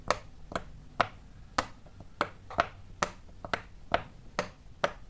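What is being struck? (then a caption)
Silicone pop-it bubble toy. Fingertips press and pop rows of small hollow bubbles on a large square rainbow-striped silicone pop-it fidget toy. Twelve short, crisp pops with a hollow midrange tone sound at a steady, unhurried pace, each dying away almost instantly over quiet background.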